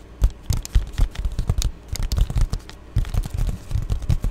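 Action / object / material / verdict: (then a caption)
scrape / padded plastic bubble mailer / plastic / none. An Amazon Prime padded poly bubble mailer, close-up, is tapped and scratched with long glittery nails. The result is a rapid run of short, dry taps and scratchy rustles, mostly low and thumpy with brief bright crackles, and a quiet pause just before the three-second mark.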